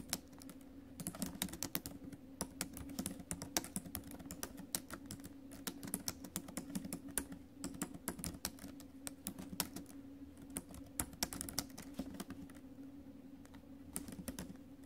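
Fingertips and acrylic nails tap the plastic keys of a silver laptop with a metal body in steady, continuous typing. The result is a run of quick, sharp clicks with a bright edge that stop almost instantly, over a faint, steady low hum.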